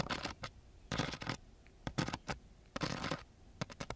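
A ballpoint pen tip is scratched and poked into the gritty surface of a flat, coarse-grit sandpaper sheet. It makes irregular bursts of rough, bright scratching mixed with short, sharp taps, with brief quiet gaps between them.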